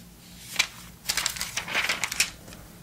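Fingertips turn and flip the thin, flat, bendable glossy paper pages of an open vintage Sports Illustrated magazine from November 2002. A single sharp crackle is followed by a quick run of bright, papery crinkles and snaps. The sound is dry and high with almost no low end.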